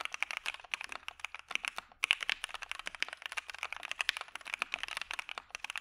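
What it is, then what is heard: Mechanical keyboard with PBT keycaps. Fingertips of both hands type quickly on a dark Maja mechanical keyboard with white PBT keycaps and PE foam. The result is a dense run of short, bright, crisp clacks with almost no low end, broken by one brief pause near the two-second mark before the typing resumes.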